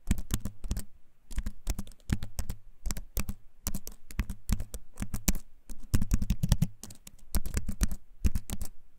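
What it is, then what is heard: Wooden-frame keyboard with plastic keys. A compact keyboard with a wooden frame and plastic keys is held up close and typed on with fingertips. Its clicky keycaps give quick, dry taps in uneven bursts with short pauses, with a deep, close low end and bright click edges.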